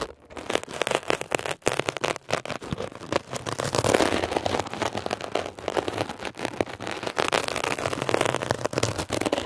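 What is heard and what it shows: A metal ear pick tip is scratched and dragged across a blue mesh-covered textured foam scrub sponge. The result is a dense, continuous run of rapid crackly scratching with a broad rasp, centered in the mids. It has bright edges, little low end, and many short, sharp strokes that barely ring.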